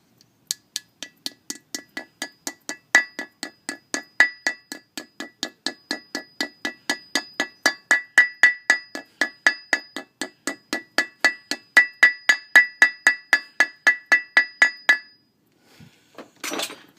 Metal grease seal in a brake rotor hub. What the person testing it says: you can hear how the tone changes it's seated down in there